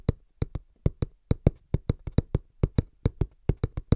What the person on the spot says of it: Tapping (Fast & Rhythmic) On Cardboard Box